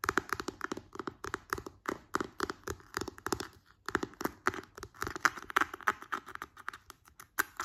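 A large, round, hollow white plastic cream jar with a glossy green plastic screw lid is tapped on its lid and side with fingertips and long nails. Dozens of quick, dry, clicky taps come in an irregular run, with a brief pause partway through. Each tap is hollow and plasticky, centred around 1.3 kHz with a bright nail edge, and dies away almost instantly.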